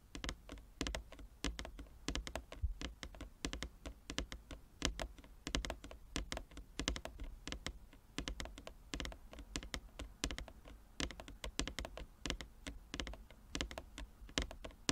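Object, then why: Wooden chess board tapped with fingernails. Long fingernails tap in rapid drumming across the surface of a large, flat wooden chess board with inlaid squares. The result is dense, fast clicks and thunks, each short and dry with almost no ring, over a low, muted body and bright tips.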